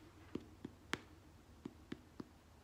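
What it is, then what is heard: Hollow-sounding, fully baked stuffed bread roll. Six soft, hollow taps on the bottom of a freshly baked pepperoni-stuffed dinner roll, each a short dull knock with a low body and brief ring. The hollow sound shows the roll is cooked all the way through despite the stuffing.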